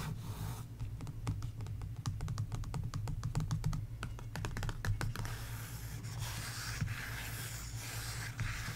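Long nails and fingertips tap quickly across the printed paper sticker pages of an open sticker book resting on a table, producing a run of short, crisp clicks. After about five seconds the tapping gives way to a steadier, brighter scratching across the paper. A low, constant hum sits underneath throughout.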